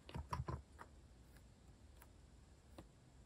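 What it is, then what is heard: Plastic mechanical keyboard being typed on. A compact white-case plastic mechanical keyboard with cream and orange cat-themed plastic keycaps, resting on a wooden desk, is typed with fingertips in rapid key taps. A quick cluster of low, muted clacks lands in the first half-second, followed by a few softer, sparser taps with short dry decays.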